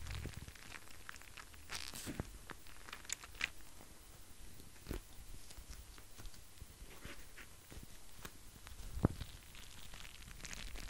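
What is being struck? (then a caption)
Plastic gel bead eye mask. Fingertips tap and scratch a small, flexible, clear plastic gel bead eye mask with beads inside. The result is quiet, crinkly scratching and soft crunchy taps with brief bright clicks. Each tap stops almost instantly, and a couple of slightly louder taps stand out.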